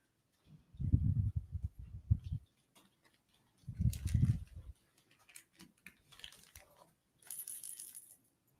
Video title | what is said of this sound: State v Hannah Gutierrez Rust Armorer Trial Day 1 - Law Enforcement Witnesses | when you shake it you hear ball bearings inside of the round